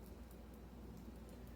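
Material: Nothing is struck.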